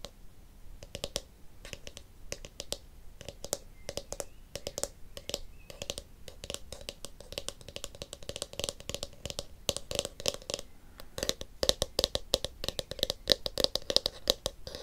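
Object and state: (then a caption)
Plastic hairbrush tapped and bristles flicked. Long nails and fingertips tap the hollow blue plastic shell of a palm-sized oval detangling hairbrush and scratch and flick its pink plastic bristles. The result is a fast, dense stream of bright, dry clicks and scratchy ticks with a faint hollow ring under them. The tapping grows busier and louder over the last few seconds.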